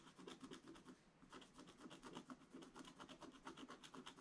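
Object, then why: Coated scratch-art paper scraped with a wooden stylus. A wooden stylus scratches away the black coating of a scratch-art paper page in quick, repeated strokes, roughly two per second. Each stroke makes a soft, dry, raspy scratch with a bright edge, with a brief lull just after the first second. The sound stays quiet and steady throughout.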